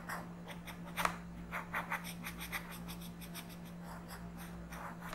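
A yellow colored pencil is rubbed in quick strokes across a flat paper coloring book page. The result is soft, dry, bright scratching in a rapid series of short strokes, with a few sharper accents. A steady low hum runs underneath throughout.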